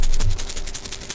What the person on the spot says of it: it's got multiple smaller balls in it and it's got a different sound